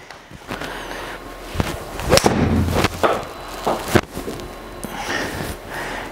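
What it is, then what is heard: Hollow foam-filled golf iron head. Golf balls are struck with a TaylorMade P790 8 iron, which has a hollow, foam-filled steel head. Several sharp, short clicking thuds stand out over steady background noise, each dying away almost instantly. The strikes carry a slightly hollow tone compared with a solid blade.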